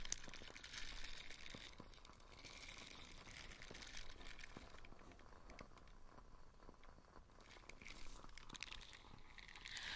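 A small light-blue nubby silicone dish scrubber is held in the hand while its bristle side is squeezed and scratched with fingertips and nails. It makes quiet, continuous crinkly scratching with crunchy bright bursts that swell and fade, over a soft low rumble.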